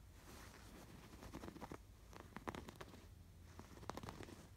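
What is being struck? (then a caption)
Embroidered canvas pillow. Fingertips scratch across the raised blue and yellow yarn embroidery on a cream woven canvas pillow. Soft, dry scratching comes in short bursts over a low, steady hum, with the sharpest rasps standing out brightly before fading quickly.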